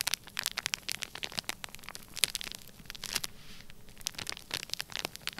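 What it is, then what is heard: Kinetic sand in a plastic bag. Fingertips and nails scratch and squeeze the crinkly surface of a flat, sealed, clear plastic bag full of orange kinetic sand. The result is a dense run of bright, crackling scratches and sharp plastic crinkles over a soft, hissy bed. The sound has very little low end.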